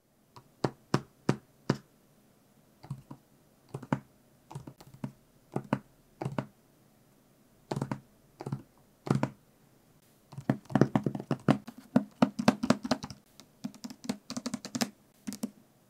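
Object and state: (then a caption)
Book, tapped with fingernails. Fingernails tap on a book, first in sparse single clicks and short bursts, then in faster clustered runs. The taps are dry and short with no ring, with most energy in a low thump around 150–200 Hz.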